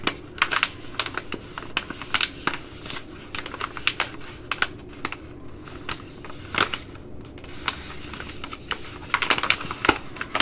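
A Ready Rice plastic laminate pouch is scratched with long nails, then bent and crinkled by hand. The result is a steady run of sharp, bright clicks and scratchy crackles that die away almost instantly over a faint hiss, with a denser burst of crinkling near the end.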